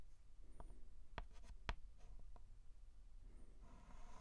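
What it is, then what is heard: Chalk writing on a chalkboard. A white chalk stick held in the fingertips scratches and writes small strokes on a flat black chalkboard. Quiet, dry scratching with a few short, sharp chalk taps stands out over a low, steady background hum.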